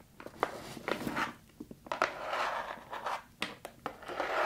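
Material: Cardboard.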